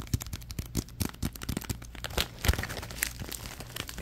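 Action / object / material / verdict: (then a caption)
scrape / plastic bag / plastic / none. A crumpled orange plastic bag is crinkled and squeezed in the hands, giving a dense run of sharp, dry crackles and crinkles. The crackles sit over a low thumping rumble, with brighter bursts near the middle and later in the clip.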